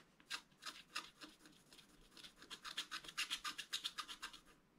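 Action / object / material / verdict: scrape / scratch-art card with black coating over foil, wooden stylus / coated foil card / none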